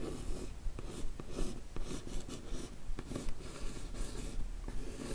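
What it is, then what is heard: Rigid cardboard box scratched with nails. A long fingernail traces and scratches the lid of a closed, hollow, yellow rigid cardboard beauty gift box covered in paper, then the nails of both hands rest on it and scratch. The result is a steady, dry scraping and rustling with short, brighter scratch strokes repeating at a fairly regular pace over a low, hollow rumble.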